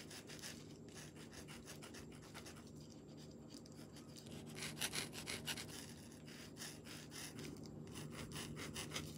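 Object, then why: Marker tip on a painted stone. A green marker tip is rubbed and scratched across a smooth, palm-sized solid river stone painted white with a mandala, resting on bubble wrap, while coloring. Quiet, bright, scratchy rubbing strokes repeat in a loose, uneven rhythm over a steady low hum, growing somewhat louder and denser midway through.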